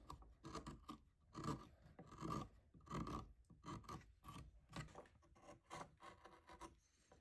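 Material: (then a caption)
Cottonwood bark. A solid cottonwood bark face carving is cut and scraped with small steel gouges. Quiet, dry rasping strokes repeat at an uneven pace, each a short scrape with a low, woody body and a faint bright edge, dying away quickly between strokes.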